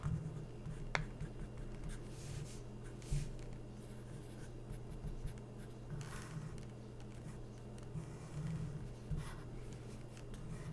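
A felt-tip permanent marker held in the hand is drawn and rubbed across the printed page of an open glossy paper magazine lying flat, with thin coated pages, while tracing a cartoon figure. Soft, squeaky scratching strokes come and go over a steady low hum, with a few brighter, sharper strokes standing out. The result is a quiet, continuous drawing sound in a small indoor space.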